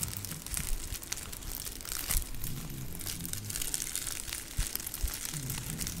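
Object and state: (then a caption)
Crinkle plush dog toy. A long grey spotted plush snake dog toy with crinkle material inside, soft and flexible, is squeezed, scrunched and scratched with long nails. It makes steady crinkling and crunching with bright rustle over a low, muffled body of sound. Short louder crackles stand out along the way.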